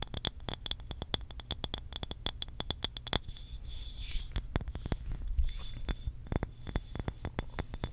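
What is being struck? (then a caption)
Glass water bottle. Long acrylic nails tap rapidly along the body and neck of a medium cobalt blue glass water bottle with a blue cap, making crisp, bright clinks with a short glassy ring. Midway the tapping thins into a softer scratchy, hissing scrape before the quick clicking taps resume over a low steady rumble.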